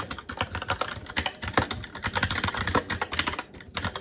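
Both hands' fingertips type continuously and fast on a SteelSeries Apex 7 TKL mechanical keyboard with plastic keycaps on a metal top plate and Red linear switches. The result is a dense, rapid stream of short, bright clacks with a low thock underneath, each dying away almost instantly, with a brief lull near the end before the typing resumes.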